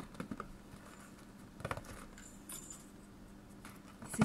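A hollow, medium-small cardboard chocolate product box, printed dark brown and red, is held in one hand and tapped with the fingertips and nails of the other. Quiet, dry, papery taps come in short clusters over a faint low hum, with a brief louder tap near the end.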